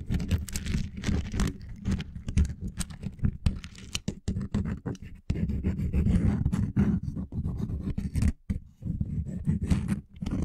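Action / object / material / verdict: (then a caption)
scrape / wooden lattice coaster / wood / none. A small, flexible coaster made of linked solid wooden blocks is held over the top of a microphone and scratched with fingernails and fingertips. The result is a dense, continuous run of low, rumbling scrapes and scratches with quick, dry clicks, broken by a few brief pauses.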